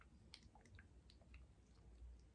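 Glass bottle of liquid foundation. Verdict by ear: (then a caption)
Runny. A glass bottle of Tom Ford Shade and Illuminate Soft Radiance Foundation, shade 0.5 Porcelain, is shaken, giving soft wet sloshing and squishing with faint clicks over a low rumble. The sound shows the foundation inside is very liquid.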